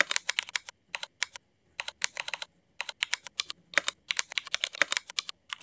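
Fingertips of both hands type rapid key presses on a full-size backlit mechanical keyboard with black ABS plastic keycaps and Cherry MX black switches, resting on a wooden desk. Bursts of sharp, bright plastic clacks arrive in quick runs separated by brief pauses, each click dying away almost instantly with no low-end thump.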